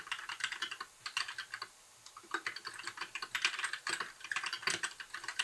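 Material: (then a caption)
Plastic. Fingertips of both hands type continuously on a compact white mechanical keyboard with plastic keycaps, blue backlight and a hollow case. Quick, bright, clacky key taps with almost no low end and very short decay come in rapid bursts, with a brief pause just before the two-second mark before typing resumes.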